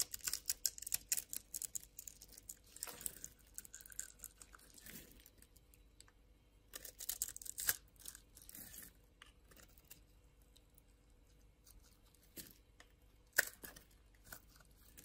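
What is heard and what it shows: A metal blade scrapes and cuts through a solid, palm-sized orange bar of soap held in the hand and pre-scored in a grid pattern, crumbling small soap cubes off. Bursts of crisp, bright scraping and crumbling come in clusters, with short dry crackles and quiet pauses between them.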